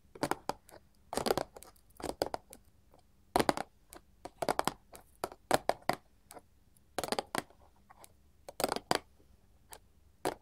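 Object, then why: Paperboard candy box. Long gold metal filigree claw nails on both hands tap and scratch a small, flat, printed paperboard candy box resting on a table. Quick clusters of dry, papery clicks and scratchy rasps come in bursts with short pauses between them. The sound stops almost instantly, leaving only a faint, steady low hum underneath.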